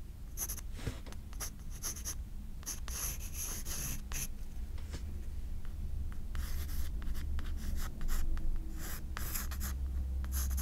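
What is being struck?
Graphite pencil on a paper spiral sketchbook page.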